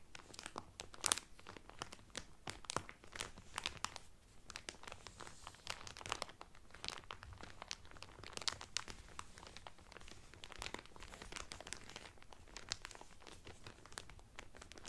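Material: Cellophane.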